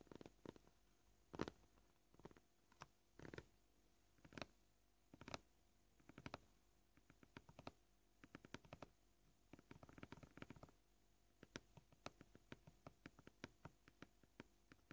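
Short purple-painted fingernails tap the top of a flat white plastic cutting board covered in fine knife scratches, gently and at a varied pace. The result is quiet, dry, short clicks that stop almost instantly, some louder and more spaced out, others in quick light runs, over a faint steady background tone.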